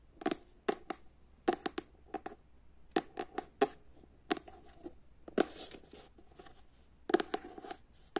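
Long nails tap and scratch on the solid cardboard cover of the paperback novel "Jedanaest minuta," first on the back cover and then on the front. Quick clusters of dry, sharp clicks with a low-mid body are separated by soft scratching rustles and short pauses.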